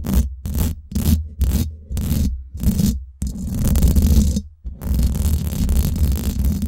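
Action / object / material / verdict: scrape / steel mesh microphone grille / steel mesh / none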